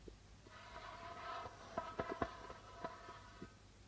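Curled fingers and nails tap and scratch the white plastic membrane of a hollow darbuka drum. A soft, steady scratching hiss runs underneath four sharper taps that each ring briefly with a hollow tone around 670 Hz. The overall sound is quiet, with little deep low end.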